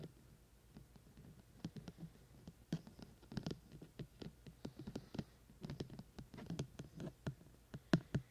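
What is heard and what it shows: Fingertips tap repeatedly on the outer silicone ear shells on both sides of a binaural microphone with white silicone ears and a black plastic body. The result is a quiet, irregular patter of about thirty soft, dull, low thumps, each dying away almost instantly, with a few sharper, brighter taps among them.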